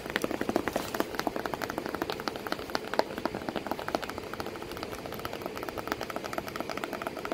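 Long nails rapidly tap and scratch the creased flap of a corrugated cardboard box with a cat sitting inside it. The dry, papery taps come in a fast, steady stream over a soft scratching hiss, each one sharp and dying away almost at once, with little low end.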